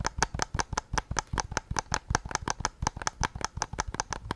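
Fingertips tap the back of a white PS5 controller's hollow plastic shell in a fast, uneven run of about 25 short, dry clicks. Each tap has a low knock and a bright, crisp top, and it dies away almost instantly.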